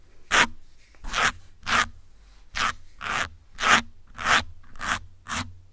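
Metal pins pinched in the fingers scratch the top of a grey foam windscreen on a black microphone. Nine separate bright, crackly scraping bursts follow one another at an uneven pace, each fading quickly into a low background hum.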